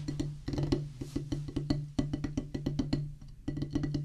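Two wooden drumstick tips tap a solid black rubber practice pad on a wooden base. A quick, uneven run of short, dull thuds follows, each with a low, woody body and almost no ring, and the patter pauses briefly before resuming.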